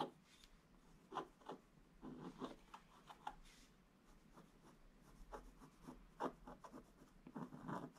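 A wooden stick scratches across a flat, solid, black-coated scratch-art paper page in repeated short strokes. Each stroke makes a soft, dry, raspy scrape centred in the midrange, separated by quiet gaps over a faint low hum.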